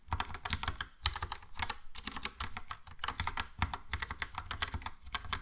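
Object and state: Plastic mechanical keyboard being typed on.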